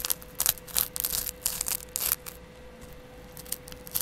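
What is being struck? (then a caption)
Kitchen sponge with abrasive scouring pad. A palm-sized kitchen sponge with a yellow foam layer and a green abrasive scrub pad is held in the hand while the green pad is scratched with a double edge razor blade and fingertips. Bright, raspy scratching bursts come in quick strokes, each cutting off almost at once, with a quieter stretch in the middle before the scratching picks up again. A faint steady hum sits underneath throughout.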